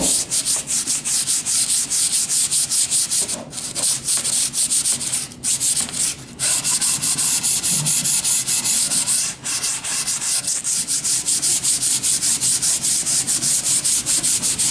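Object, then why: Wooden board. A long, thin, solid wooden plank held diagonally is rubbed along its length by hand with a sanding sponge. The result is a steady run of quick, scratchy, bright strokes at about two and a half per second, with a few brief pauses. It is dominated by high-frequency hiss with almost no low end.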